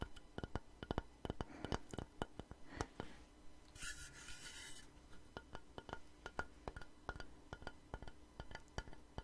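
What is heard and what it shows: A long, light, solid wooden plank, held upright and then tilted, is tapped with long nails and fingertips in a quick, uneven run of short, dry clicks and knocks that die away almost instantly. Midway through, a brief, bright, hissing burst breaks the tapping before the taps resume.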